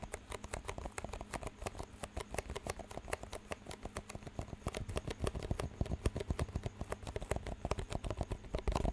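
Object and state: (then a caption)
Plastic cups tapped and knocked together. Fingertips tap rapidly on two identical clear, empty disposable plastic cups with green rims, held up in both hands, and the cups are knocked together. A quick, steady stream of short, dry clicks and taps, each dying away almost instantly, grows slightly louder toward the end over a faint low hum.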